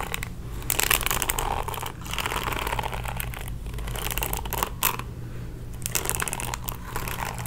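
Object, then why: Plastic paddle hairbrush bristles. Fingertips and nails scratch the bristles of a pink plastic paddle hairbrush. A dense, continuous crackly scratching with bright hissy texture rises and falls in waves, over a steady low hum.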